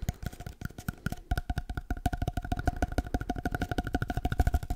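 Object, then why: Cardboard paper-towel tube. An empty, hollow cardboard paper-towel roll is held in both hands and tapped quickly with the fingertips. It makes a fast, uneven run of short, dry, hollow thumps, heavy in the low end, with a faint tonal ring in the midrange. There is a brief pause near the start before the tapping picks up again and continues steadily to the end.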